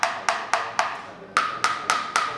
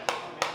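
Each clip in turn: First: Eight quick knuckle knocks on a sheet-metal panel, dull and short, the ring choked off by layered damping. Second: Two sharp knocks on thin sheet metal, a bright tone near 1 kHz still ringing briefly after each.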